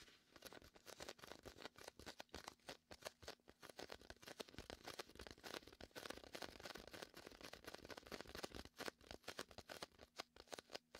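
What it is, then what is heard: Inflatable vinyl beach ball. Fingertips tap and peel across the sticky surface of a large red and white inflatable PVC beach ball, hollow and air-filled, set to the right of the microphone. Dense, quick, dry taps and crackling peels run continuously, with short bright snaps over a soft, hollow body.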